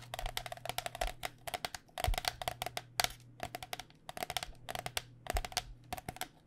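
Fingernails tap quickly on the outer plastic shell of a white cycling helmet, a hollow shell over foam. The taps come in rapid, uneven bursts of short, dry clicks with a hollow tone around 720 Hz and bright edges, each dying away almost instantly. A steady low hum runs underneath.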